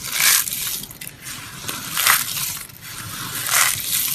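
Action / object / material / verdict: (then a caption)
scrape / soap flakes / soap / none. Dry green and pink soap shards, solid and brittle, are crushed and rubbed between both hands and fingertips over a pile resting on a grey cloth. Bright, dry crunching comes in several loud bursts separated by softer rustling and grinding of the flakes, with almost no low end.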